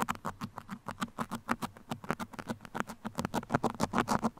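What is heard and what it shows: The tips of two metal sewing pins, held in the fingertips, scratch a soft, hollow black open-cell foam windscreen over a microphone capsule. About 28 quick, uneven scratchy strokes come in a rapid patter, each a dry, soft rasp with a low hum-like tone near 260 Hz and a breathy midrange. The strokes stop almost instantly with no ring.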